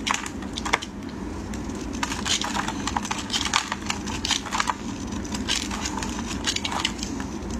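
A utility knife blade shaves thin strips off a solid green oval bar of dry soap. Crisp, crackling scrapes come in quick bright bursts, one after another, over a steady low background rumble. Each stroke cuts off sharply with almost no ring.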